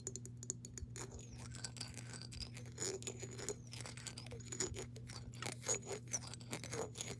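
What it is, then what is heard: Glass jar with water, tapped and scratched. Long nails tap and scratch the body of a clear glass mason jar with a metal screw lid, partly filled with water, while the jar is turned. The result is a quiet stream of crisp clicks and scrapes with faint high ringing tones that glide up and down, over a steady low hum.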